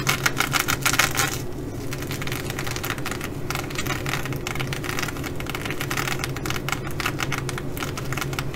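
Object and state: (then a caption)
Sequin fabric bag. Long nails on both hands scratch and tap the flip sequins of a blue reversible sequin fabric bag. The result is a dense, bright clicking and rattling, busiest in the first second and a half and again toward the end, over a steady low hum.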